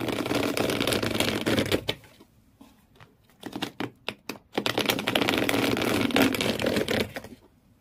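Fingernails rapidly scratch the corrugated cardboard floor inside an empty shoe box, making a dense, bright, papery rasping. The scratching runs steadily for about two seconds, breaks into a few short, separate strokes after a pause, then resumes in a sustained flurry before stopping.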